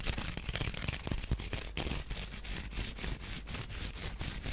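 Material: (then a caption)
Wicker. Fingernails scratch along the weave of a small, hollow, empty woven wicker duck basket held in the hands. The result is a steady run of rapid, dry rasping strokes with a bright, hissy edge over a low, hollow rumble from the basket's body.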